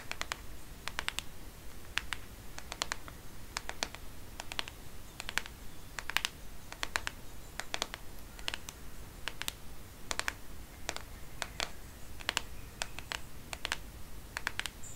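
Long fingernails tap and scratch the plastic back of a black Microsoft smartphone held in one hand. Sharp, bright clicks come in irregular pairs and small clusters over a steady low hum. Each click is dry and stops at once, with no ring.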